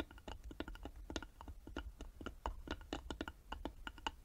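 Long nails tap rapidly on the sides of a small, hollow carved wooden box held in both hands. A quick, uneven run of short, dry clicks each dies away almost instantly, with a hollow woody tone near 900 Hz over a steady low rumble.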